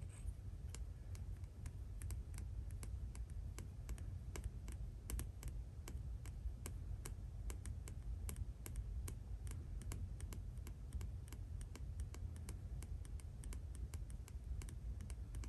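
Fingertips and short nails tap rapidly on a thin, flat, rigid, clear acrylic planner stencil with cut-out shapes and a ruler edge, held up in both hands. Quick, sharp clicks follow one another steadily over a low, constant hum.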